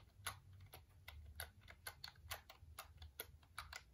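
Fingertips tap the keys of a black plastic full-size computer keyboard held up in front of the face. The result is a quiet, uneven run of short, dry, bright clicks over a low, steady hum.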